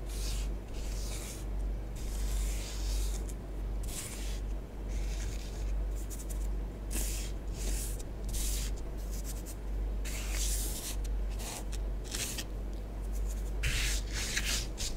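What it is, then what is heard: Bath bomb powder on tabletop. A long nail tip writes letters in orange bath bomb powder spread on a tabletop. Soft, irregular scratching strokes come in short bursts of bright, gritty hiss over a steady low hum.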